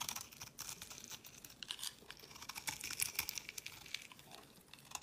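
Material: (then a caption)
Soap. A solid pink bar of soap held in the hand is shaved and carved with a utility knife blade, with flakes falling onto a woven mat. The blade makes a quiet, rapid series of crisp, bright scraping and crackling cuts with almost no low end.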